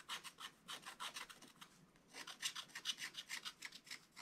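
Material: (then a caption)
Coated paper. A wooden stylus scratches a Christmas tree design into the black coating of a scratch-art book page lying flat. Quick, fairly uneven rasping strokes come in two runs separated by a short pause near the middle. Each stroke is a bright, dry scrape centred around 3 kHz with almost no low end.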